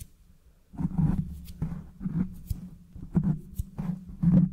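Fingertips scratch and rub a soft black foam windscreen, a hollow foam cover on a microphone head. The result is close, muffled bursts of deep rumbling scratches with a low hum, starting after a quiet moment and rising and falling in uneven waves.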